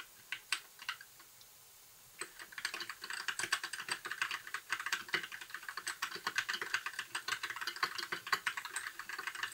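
Fingertips of both hands type on a compact white mechanical keyboard with backlit plastic keycaps. A few scattered clacks and a short pause give way to steady, rapid typing. The keystrokes are sharp, bright plastic clicks with almost no ring and no low-end thump.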